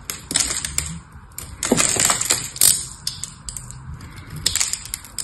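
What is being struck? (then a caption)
Solid soap bar scraped with a small metal knife. A pink and blue solid bar soap, held in one hand, is shaved and scraped with a small metal knife, and soap flakes break off. The sound is a run of crisp, bright crunching scrapes in bursts, with short pauses between the strokes.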